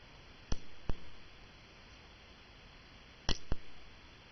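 A cupronickel crown coin is tapped in a ping test, giving four sharp clicks in two pairs. Each note dies almost at once rather than ringing, marking the coin as cupronickel, not solid silver.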